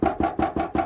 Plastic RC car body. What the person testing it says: you can hear the body sounds solid